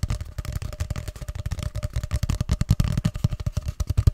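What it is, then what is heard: Cardboard paper tube. Fingers tap and scratch along a long, hollow grey cardboard paper tube held upright. A rapid, uneven run of short, dull, hollow thumps sits deep in the low end, with a faint steady tone and light scratchy rustle between them. Each tap dies away almost at once.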